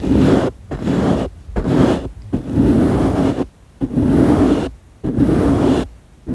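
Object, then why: Foam microphone windscreen. Fingertips rub and scratch over the surface of a round, soft, porous black foam windscreen on a microphone, which is itself the object being touched. About six close, dense bursts of muffled, rustling scratching come in loosely timed strokes, each with a low, warm hum under the friction noise. The bursts are separated by brief near-silent pauses.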